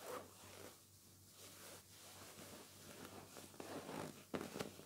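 Bare fingertips and palms rub, scratch and squeeze the surface of a large, soft, white pillow in a white cotton cover held against the body, and the pillow is hugged and crumpled. The result is quiet, soft rustling and zipper-like scratching strokes over a faint low steady hum, with a few sharper, brighter scrapes standing out near the end.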